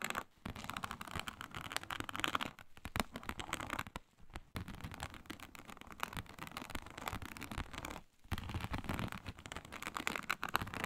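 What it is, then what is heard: Faux snakeskin leather mat. Long nails scratch with both hands across a flat, iridescent faux snakeskin mat of embossed reptile-pattern synthetic leather. The result is a dense, continuous stream of dry, crackly scraping and scratching, broken by brief pauses near 0.3, 4 and 8 seconds.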